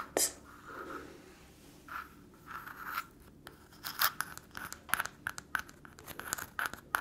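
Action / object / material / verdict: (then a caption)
scrape / walnut in its shell / nutshell / none. Long fingernails scratch and tap the hard shell of a single small, round, tan walnut held up close in one hand. Soft dry scrapes give way to a quick, uneven run of sharp, bright clicks that stop dead without ringing.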